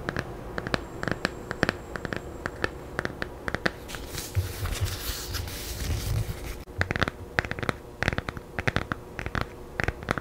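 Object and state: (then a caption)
Paperback book tapped and scratched with nails. Long nails tap and scratch the blue illustrated glossy cover of a thin, solid children's paperback held in both hands. Sharp, dry clicks come in quick bursts, broken in the middle by a few seconds of steady, bright scratching across the cover before the tapping returns.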